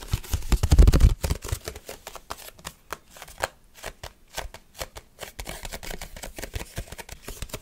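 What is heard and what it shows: Fingertips and short nails grip, tap and scratch the surface and edges of a rectangular translucent red plastic food container lid. A loud, dense burst of crackling grip noise in the first second gives way to a fast, uneven series of short, dry, clicky taps and scrapes that stop almost instantly with no ring.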